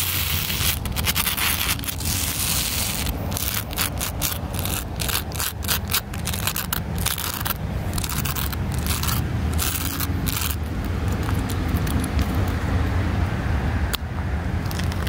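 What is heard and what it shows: A large, flat, solid poured rubber-crumb playground surface of blue and black granules, with some wood chips scattered on it, is scratched and tapped with long black nails and fingertips. A continuous, fast, rough scraping and crackling texture with a strong low rumble runs throughout. Dense bright bursts of scratching come and go.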